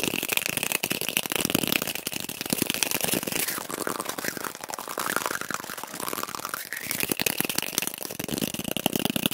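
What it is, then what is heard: Cardboard tube, tapped and scratched. A small, hollow brown cardboard toilet paper roll held in the hands is rapidly tapped and scratched with fingertips and nails. The result is a dense, dry, crackling stream of quick taps and scraping, bright and hissy with little low end.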